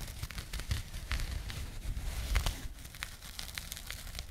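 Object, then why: Small burlap jute pouch. A small burlap jute pouch, partly folded and held close to the microphone, is scratched with long nails. The result is a steady run of dry, rough scratching and crinkling, with quick bright rasps over a soft low rumble.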